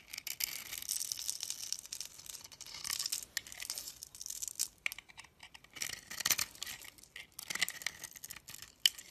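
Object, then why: Bar of soap. A metal utility knife blade scrapes and carves a solid hand-held bar of orange and yellow striped soap, pre-scored into a grid, as small soap cubes crumble off. The sound is a bright, dry scratching and crackling in repeated bursts, with almost no low end.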